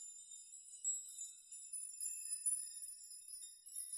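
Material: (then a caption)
Metal. Hands grasp and rock the strands of a hanging metal nail chime, setting the nails tinkling against each other. A faint, continuous jingle of bright, high metallic tones with short rings rises in small swells, with nothing low in the sound.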